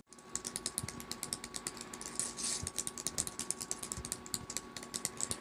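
Long acrylic nails tap and type rapidly on a small black plastic keyboard in a purple faux-leather tablet case resting on a fleecy blanket. The result is a quick, uneven stream of bright, crisp plastic clicks with very short decay and a brief scratchy swell midway, over a faint steady tone.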